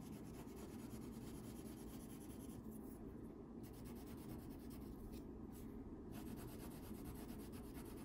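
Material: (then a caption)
Paper. A yellow wax crayon scribbles back and forth across a thin paper coloring sheet lying flat on a table, steadied by the other hand. It makes a steady, soft, scratchy rubbing with a faint low hum underneath. The bright edge of the scratch thins briefly around the third and sixth seconds.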